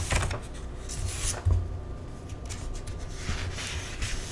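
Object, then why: Paperback cookbook with thin paper pages. Bare fingertips and a palm rub and slide across the thin paper pages of an open paperback cookbook lying on a table, lifting the edges to turn pages in its index section. Soft, low thumps of handling against the table mix with a papery rustle and brief bright swishes as the pages shift and turn.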